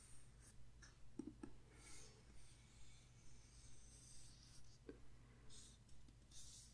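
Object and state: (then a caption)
Paper phone book pages. Fingertips and nails rub and scratch across the printed paper pages of a large, thick paper phone book lying open on a table as the pages are skimmed and turned. Soft, bright brushing swishes come and go over a steady low hum, with a few light clicking taps in between.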